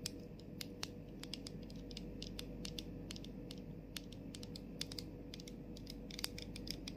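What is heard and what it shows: Long nails tap the top and rim of a clear plastic cap on a plastic body mist bottle held close, then move to the bottle's labeled body. Quick, dry, bright clicks with almost no ring come in an irregular stream over a steady low rumble.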